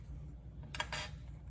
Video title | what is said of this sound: LGT Darth Maul Saber (part 2) | now it has tightened there is no shake